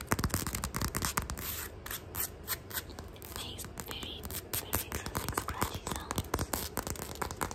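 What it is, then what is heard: Fabric sneaker being scratched. Fingernails scratch and rub quickly along the textured fabric upper of a black sneaker held close to the microphone. The result is a dense, fast stream of crisp, short scratchy strokes and sharp clicks, with almost no ring.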